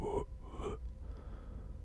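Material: Nothing is struck.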